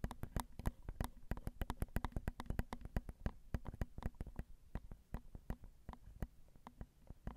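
Long acrylic nails tap the metal grilles of a Zoom recorder's XY microphone, its small hollow metal mesh capsules. About 39 quick, dry clicks and light thumps arrive in an uneven flurry, each a sharp broadband tick over a deep low thud. Every tap dies away almost instantly.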